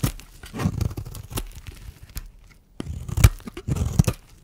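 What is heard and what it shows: A small, solid pink soap bar held in one hand is scraped with a metal blade, shaving flakes off onto a bed of soap shavings. Dry, crunchy scraping and tearing strokes come in uneven bursts, with a brief quiet pause midway, and the bar looks rounder and more translucent as it is shaved.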